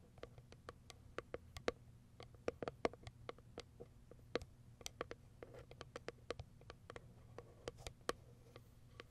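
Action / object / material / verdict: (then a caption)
tap / small cardboard box with plastic window / cardboard / none. Long white acrylic nails tap and scratch the clear plastic window and lid of a small, empty white Kiara Sky cardboard product box resting on fur. A quick, irregular stream of sharp, dry clicks with a hollow midrange tone and bright edges sits over faint scratching and a low, steady hum.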